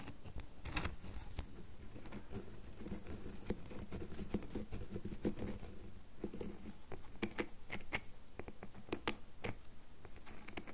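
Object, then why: Bar of soap. A solid red bar of soap is held over a table while long nails tap quickly on its faces. The result is a steady run of short, dry clicking taps with a soft, low body and brief bright ticks, over a faint continuous rustle, with each tap dying away almost at once.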